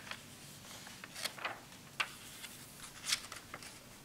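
Fingertips grip and flip the thin glossy pages of a large open glossy-paper magazine lying on a wooden table, rubbing and turning them one after another. Eight bright, crisp paper swishes and snaps stand out at irregular intervals over a soft, steady hiss.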